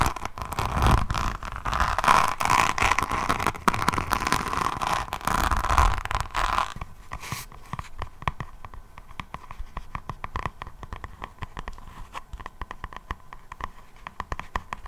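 Long nails of both hands scratch the textured black faux leather back cover of a hardcover notebook held in front of the mic. For about the first seven seconds the scratching is dense and crunchy with a steady mid-pitched hum. After that it thins into sparse, quieter clicks and taps.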